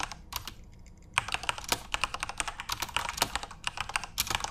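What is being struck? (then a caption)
Plastic mechanical keyboard. Both hands tap rapidly with the fingertips on a full-size Corsair RGB-backlit mechanical keyboard with plastic keycaps. After a quieter first second with a few scattered clicks, a dense, fast stream of sharp, bright plastic key clacks follows. Each one is short and dry, with almost no ring.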